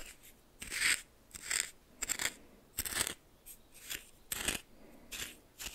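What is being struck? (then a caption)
Coarse salt crystals in a small glass bowl, stirred with a plastic spoon. A red plastic spoon held in the fingers stirs and scrapes a pile of white coarse salt in a small bowl that appears to be glass. A series of short, scratchy, crunching scrapes sounds as the crystals grind, bright and hissy with almost no low end, separated by brief quiet gaps.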